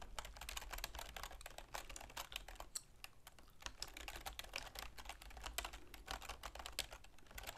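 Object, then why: Plastic computer keyboard. Long manicured fingernails and fingertips rapidly tap the keys of a full-size black plastic computer keyboard with a silver plastic frame resting on a wooden desk. The result is a dense run of bright, sharp plastic clicks and clacks that die away almost instantly, over a steady low hum.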